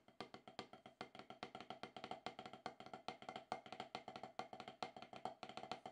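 Wooden drumsticks tap in alternation on a solid, octagonal HQ rubber-top snare practice pad, making a quick, somewhat uneven run of about 40 strokes over six seconds. Each tap is a short, dry, woodblock-like knock centered near 750 Hz, with a bright stick click on top and almost no ring or low end.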